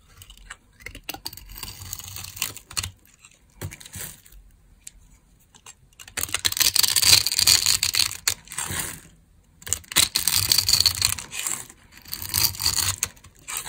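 A small green-handled knife scrapes and cuts grid cubes off the surface of a dry, solid, hand-sized rectangular yellow bar of laundry soap held in one hand. The result is dry, crisp scraping and crunching with a bright, hissy texture, quiet and sparse at first, then building into louder, denser stretches of rapid, irregular scratching.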